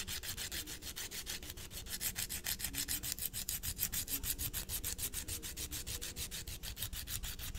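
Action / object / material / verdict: scrape / emery board nail file on a fingernail / emery board / none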